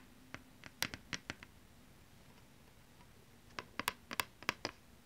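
Long nails tap and scratch both faces of a thin plastic PlayStation 2 game disc, giving sixteen short, bright clicks with almost no ring. The taps come in two quick bursts separated by a quiet pause of about two seconds.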